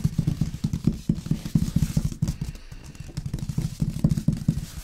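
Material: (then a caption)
Cardboard. Fingertips and nails of both hands tap and scratch the front face of a large, long, printed cardboard box, the upright, hollow packaging of an LG sound system, likely with the product inside. The taps come as a quick, uneven run of dull, low, hollow thumps with a faint scratchy rustle over them, easing briefly around the middle before picking up again. Each thump dies away almost at once.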